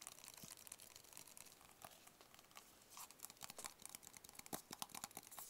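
A small, hollow, white rigid cardboard product box is held in the hands and tapped and scratched with fingertips and nails. A steady, quiet, bright scratching rustle fills the first half, then sharper, dry taps with almost no ring pop out more often and louder toward the end.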